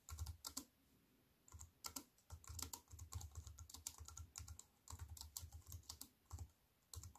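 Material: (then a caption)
Plastic, aluminium. Fingertips with long painted nails type on a slim wireless keyboard with a silver aluminium frame and black plastic chiclet keys, resting on a wooden table. Quick bursts of bright, clicky key taps with a soft low thud come in irregular runs separated by short pauses.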